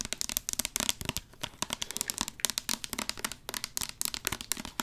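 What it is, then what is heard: Plastic squeeze bottle. Long acrylic nails tap and scratch a medium orange plastic squeeze bottle of hair product with a white cap, hollow and held upright close to the mic. A rapid, uneven run of crisp clicks and scratchy rasps follows, bright and dry with almost no low end or ring.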